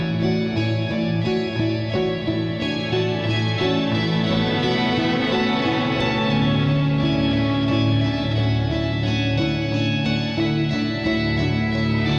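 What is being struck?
Nothing is struck.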